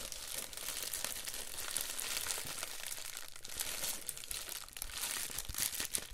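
An empty, folded Amazon Prime poly bubble mailer is held and squeezed in both hands, thumbs rubbing it, while a cable bag lies still on the table. Dense, bright crinkling and crackling continues throughout, with many small crunchy bursts and little low end.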